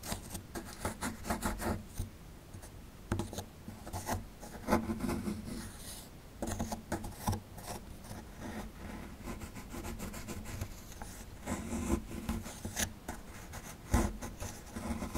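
A metal pick tool scrapes the lower edge of a small, solid plaster excavation block held in the hand. It makes a steady run of dry, gritty scraping and rubbing strokes with short louder scratches. The sound is dull and low-weighted, and each stroke dies away quickly.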